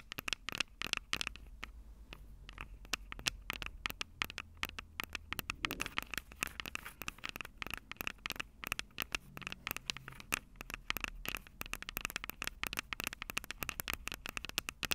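Long purple nails on both hands rapidly tap and scratch the small metal X/Y microphone capsules on top of a plastic Tascam DR-05 recorder, the same mic doing the recording. A dense stream of sharp, bright clicks and scratchy crackles with no ring, carrying a ringing tone near 2.7 kHz over a faint low rumble.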